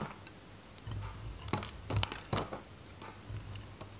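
A metal knife cuts a varnished, dry white Godrej No.1 soap bar, held solid in the hand, into chunks. Sharp, dry, crisp cracks and bright snaps come at irregular intervals, each stopping almost instantly, over a low steady hum.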